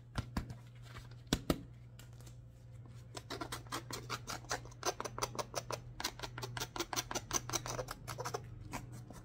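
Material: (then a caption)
Rubber, felt. A hollow, empty grey felt slipper with a fur-lined collar and a dark textured rubber sole is held close while its sole is scratched and rubbed with leather-gloved fingers and a wooden stick. A few sharp scrapes at the start give way after about three seconds to a rapid, dense run of short, bright scratching strokes. A steady low hum runs underneath throughout.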